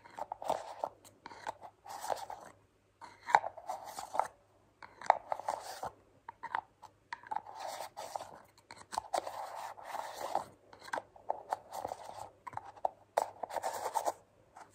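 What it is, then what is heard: Small plastic cream jar. Long nails tap and scratch around the lid edge and body of a small, hollow white plastic cream jar. The result is dry, crunchy clicks and scrapes in bursts with short pauses, with a mid-pitched hollow tone and no ring.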